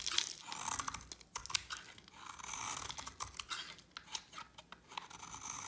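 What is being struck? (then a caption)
Bar of soap scraped with a blade. A utility knife blade scrapes a solid white dry soap bar with a yellow coating, shaving off flakes that fall away. The sound is a string of dry, bright, crunchy rasps and crackles, mostly high-pitched with almost no low end. Short sharp scrapes stop dead with no ring.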